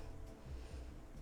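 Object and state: Nothing is struck.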